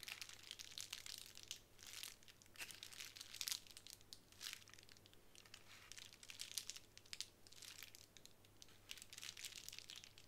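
Long nails tap and scratch across a small square of clear plastic bubble wrap resting on a wooden table. The result is a quiet, dense run of bright, crinkling clicks and scratchy rustles in uneven bursts, with a faint steady low hum underneath.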